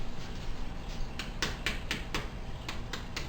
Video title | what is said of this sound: HOMEMADE FRENCH BREAD | got a crispy tap to them